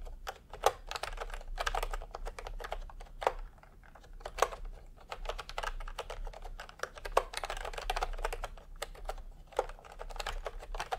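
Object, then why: Plastic keyboard with plastic keycaps. A full-size retro plastic keyboard with a peach plastic case and round typewriter-style plastic keycaps is typed on by both hands with fingertip tapping. The result is a steady stream of short, crisp plastic clicks, with a few sharper, louder key strikes standing out over a faint low hum.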